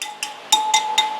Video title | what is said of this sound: Do This After Buying a Used Harley! | what you're listening for is a really dead sound. If you've got a dead sound, then you've got a loose spoke